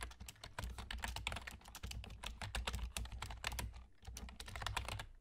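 Fingertips with short nails from both hands rapidly tap the hollow keys of a full-size black plastic computer keyboard with German key labels. A dense stream of crisp, bright clicks and clacks runs throughout, with a brief pause near the four-second mark, over a steady low hum.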